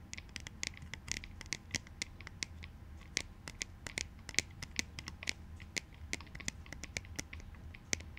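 Short painted nails scratch and tap on a pair of light plastic clout goggles with a thin, solid plastic sunglasses frame. Dozens of crisp, bright ticks and scratches sound in quick, uneven succession, each dying away almost instantly over a soft low rumble.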